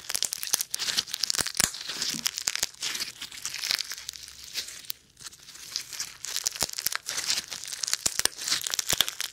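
Foam bead slime is stretched and then squeezed into a ring with fingertips close to the microphone without touching it. Dense bright crackling and popping crinkles come in rapid bursts, with a brief quieter pause midway.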